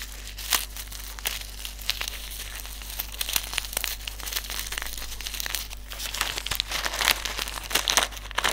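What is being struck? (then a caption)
Silica gel desiccant sachet. Fingertips crinkle, fold and rub a small white silica gel desiccant sachet filled with silica beads. Dense, bright crinkling and crackling rustle throughout, broken by sharp, quick crackles, over a faint steady low hum.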